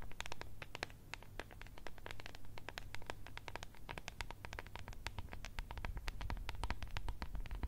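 Long red nails tap and scratch the sides and lid of a small, clear, translucent plastic tub holding blue contents. The result is a rapid, irregular stream of sharp, bright clicks and scratchy taps over a steady low hum.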